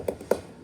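A wall is tapped twice in a small room, giving two short, dull knocks with a mid-range tone around 440 Hz. The second tap is slightly louder, and each dies away almost at once.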